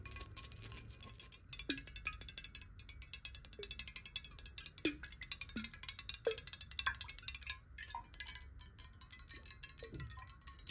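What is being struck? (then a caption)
Glass bottle partly filled with water. Long nails tap rapidly on the base and sides of a tilted, clear glass bottle partly filled with water. The result is a dense stream of bright, crisp clicks with very short ring, plus occasional hollow glassy tones that bend in pitch as the water shifts.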